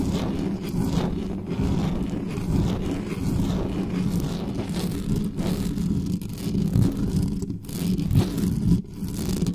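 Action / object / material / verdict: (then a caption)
scrape / metal mesh microphone grille / metal mesh / none. Long nails scratch fast and aggressively across the bare metal mesh grille of a black studio microphone. The result is a continuous, dense, rumbling scrape that is heavy in the low end, with a steady hum-like tone near 184 Hz and almost no high content. Brief dips and swells in the loudness come from the changing strokes.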